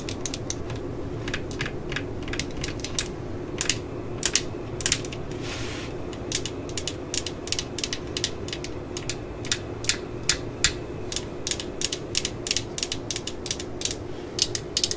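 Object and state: Plastic cordless drill housing tapped with nails.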